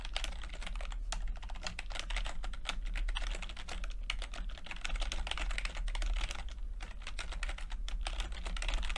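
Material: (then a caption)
Plastic. Fingertips type on a plastic backlit chiclet computer keyboard with plastic keycaps, giving a steady stream of quick, light, bright clicks with short decay. A constant low hum sits beneath the tapping throughout.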